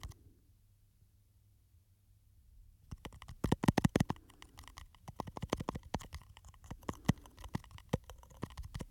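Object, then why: Small textured glass perfume bottle. A small glass perfume bottle with a textured, studded surface and a silver cap is held in the hands while fingernails scratch and tap the glass. After about three seconds of near silence with only a faint low rumble, quick, irregular dry clicks and scratches begin. The taps are loudest and densest around the fourth second, then continue in uneven bursts until the end.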